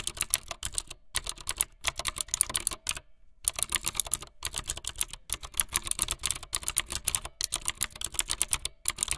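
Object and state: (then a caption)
Plastic mechanical keyboard being typed on. Fingertips with long light-blue nails type fast on a full-size plastic mechanical keyboard with white, blue and yellow plastic keycaps and a blue backlit frame. The result is rapid bursts of bright, crisp clacks that stop dead with no ring, broken by a few short pauses, including a longer gap around the three-second mark.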